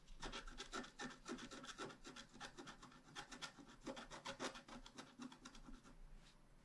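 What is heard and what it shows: A wooden stylus scratches flower petals into a thin, flat, black-coated scratch art card in quick, repeated strokes. Each stroke gives a dry, bright, rasping scrape, and the strokes come in an uneven rhythm that softens toward the end.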